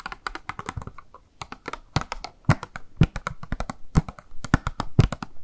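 Long nails tap rapidly on a small, hollow, clear pink plastic blister box with a makeup sponge inside, held in the hand. The result is a steady run of quick, dry clicks with a low, hollow body, broken by a few heavier knocks. Each tap dies away almost at once.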